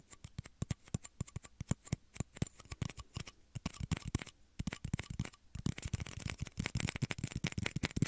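Small, hollow, empty, clear plastic shot glasses cupped over microphone ears are tapped with fingertips and short nails. Quick, dull, hollow clicks come in an uneven patter, each with almost no ring. After about five and a half seconds the taps speed up into a dense, continuous flurry.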